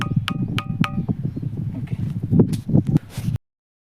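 A large boulder in a village pond in Kamareddy district is struck with another stone, and it rings like a metal water pot (bindhe) instead of giving a dull rock sound. A quick series of sharp, bell-like pitched strikes opens the clip, followed by duller knocks and clicks over a steady low rumble until it cuts off.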